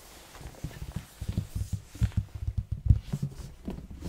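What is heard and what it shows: Fingertips of both hands tap the plain red side of a large, hollow cardboard box held in front of the mic. The result is a quick, irregular run of soft, dull thumps, deep and boomy at around 90 Hz, each dying away instantly with no ring.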